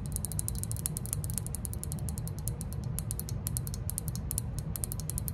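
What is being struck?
Glazed ceramic lantern-shaped figure.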